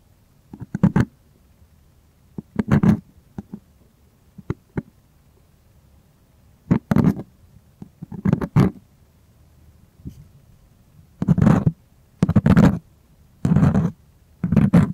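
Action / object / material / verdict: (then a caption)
scrape / stretched primed cotton canvas / cotton canvas / none. A fingernail taps and scratches the taut surface of a white, primed cotton artist canvas stretched on a panel and held at an angle, near its edge. Short, dull, low-pitched taps alternate with longer, rougher scratching bursts, separated by near silence. The scratching bursts grow longer and denser toward the end.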